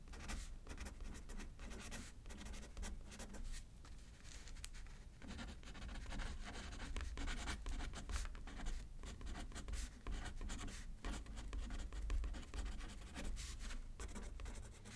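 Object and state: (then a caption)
Pen writing on a paper card. A pen scratches across a thin paper card resting on a paper pad as someone writes left-handed. Quiet, irregular strokes with bright scratchy edges run continuously over a steady low hum.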